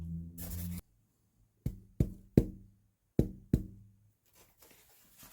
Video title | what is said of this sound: Pt 1 Vulcan. A Craig Williams grand auditorium Chechen acoustic guitar build. Introduction. | it doesn't have the the same sort of ring and metallic kind of sound that uh most other rows would have